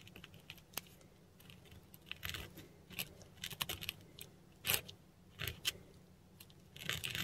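A metal dip pen nib scratches across a flat sheet of textured Korean paper lying on a surface as Hindi letters are written in ink. The sound is a string of short, dry, bright scratches and ticks with quick pauses between strokes, sitting over a faint low hum.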